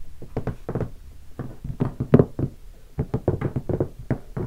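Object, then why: Hardshell guitar case. Fingertips tap the lid of a closed, large black hardshell guitar case covered in vinyl stickers, drumming in quick patterns. The result is a rapid run of dull, hollow knocks with a low, warm body and almost no bright content, each tap dying away almost instantly.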